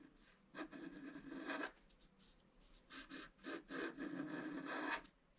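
A wooden stylus scratches an antler design into a flat black-coated scratch-art card in a few slow strokes. Each stroke is a dry, rasping scrape with a tonal edge around 1.7 kHz, with quiet pauses between the longer strokes.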